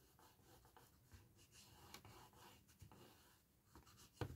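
Fingertips and long red-painted nails rub and scratch along the bottom edge and corner of a small, hollow, empty handmade gift box of patterned cardstock standing on a towel, creasing it. A quiet, continuous dry rubbing and papery scratching runs throughout, with a few brief, brighter scrapes. The clip ends on a louder, sharper scrape.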